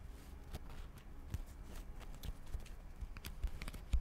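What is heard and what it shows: Long acrylic nails tap rapidly on the glossy cardboard cover of a solid purple paperback book held close to the mic. The taps come in an irregular stream of short, dry knocks with a heavy low thump and occasional bright clicking tips over a soft, steady rustle.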